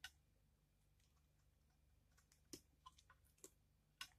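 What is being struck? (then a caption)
Dried soap bar scraped with a blade. A thin, hand-sized, solid pale pink dried soap bar is held in the hand while a utility knife blade scrapes curls off its face. Sharp, bright crunchy clicks come at irregular intervals and die away almost instantly, over a quiet low hum.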